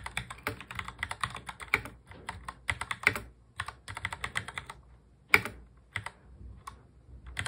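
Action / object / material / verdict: tap / plastic mechanical keyboard / plastic / none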